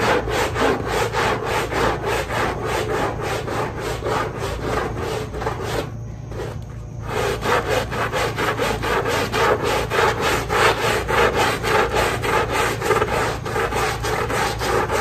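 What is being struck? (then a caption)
Fabric pile rug scrubbed with a bristle brush. A long-handled push brush scrubs a small pink fabric pile rug covered in soap foam, its bristles rubbing the wet pile. Steady, rhythmic swishing strokes repeat at a brisk pace, with a brief quieter pause midway before the scrubbing resumes.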